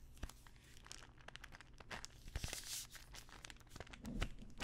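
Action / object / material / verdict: scrape / small plastic pill bottle / plastic / none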